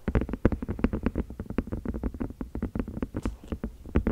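A small white and clear silicone food container, hollow and apparently empty, is held in both hands right around the microphone while fingertips and long nails tap and squeeze it. The result is a dense, steady run of soft, squishy thuds, low and muffled with almost no bright content, each dying away almost at once.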